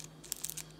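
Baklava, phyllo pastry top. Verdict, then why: Crisp. The crisp phyllo top layer of homemade baklava, soft underneath, is handled, producing three short, dry, high-pitched crackles. The crunch shows that the top is crispy.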